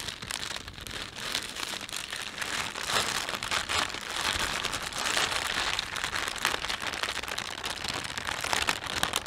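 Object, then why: Thin plastic shopping bag. A thin, empty plastic shopping bag with a panda design is rubbed between fingertips and thumbs, making a steady, bright crinkling. Dense, crackly rustles run continuously throughout, with little low-end weight.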